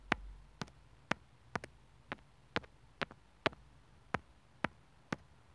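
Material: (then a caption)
Plastic. The tip of a sewing needle taps and scratches at the mic hole of a small white plastic inline microphone and remote on an earphone cable, its hollow housing lying on a wooden table. Thirteen sharp, dry clicks with no ring sound at uneven intervals, some in quick pairs, each a bright broadband tick over a quiet low hiss.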